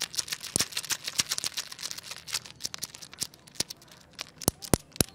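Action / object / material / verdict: shake / wooden segmented crocodile toy / wood / none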